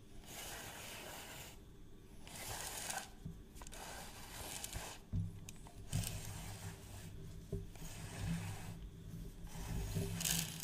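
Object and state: Plastic reel measuring tape case.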